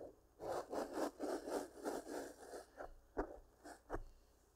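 Long pink-painted nails scratch and rub a soft black foam windscreen over a large microphone. The result is a quick series of dry, rasping strokes centered in the low midrange around 400 Hz, at roughly three to four per second. The strokes then slow into a few sharper, isolated scratches before fading out.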